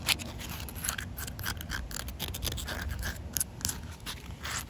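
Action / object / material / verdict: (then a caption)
scrape / concrete slab / concrete / none. Short nails and fingertips scratch across a large, solid outdoor concrete surface with wet patches. The result is a steady run of dry, gritty scrapes with bright, high rasping bursts over a low rumble, each stroke dying away almost at once.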